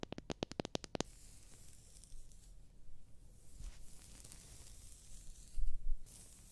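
Long dark-red nails quickly strum the teeth of a solid, hand-sized, light-coloured wooden hair comb held close to the microphone, producing a rapid burst of sharp, bright clicks in the first second. Softer scratching along the teeth follows over a low rumbling background, with a louder muffled bump near the end.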